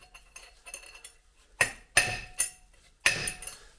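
A new steel outer race for the inner front wheel bearing of a 1971 VW Beetle is tapped gently into the hub with a hammer, using the old race as a drift. Soft ticking taps give way to four sharp, bright metallic strikes with short rings, the tone changing once the race is fully seated, meaning that side is done.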